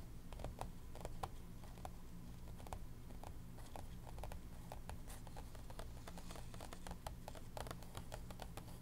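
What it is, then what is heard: Paper planner pages tapped with fingernails. Long pink nails tap quickly and unevenly across the lined paper pages of an open planner, making short, dry clicks with bright, crisp tops. A steady low hum runs underneath throughout.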